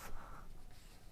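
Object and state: Nothing is struck.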